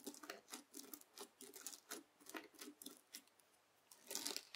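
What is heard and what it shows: A white plastic fork scratches and cuts through red bead slime (floam) on a white table, folding it over. Quiet bursts of crunchy, crackling tearing sound repeat throughout, bright and grainy with a light body around 400 Hz. The last burst is the loudest.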